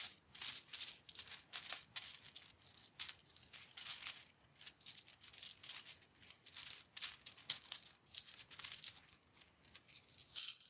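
Fingertips pick up, drop and shuffle mixed loose metal US coins within a pile spread on a white cloth. Many quick, bright coin-on-coin clinks and jingles overlap with very short rings, with nothing in the low range.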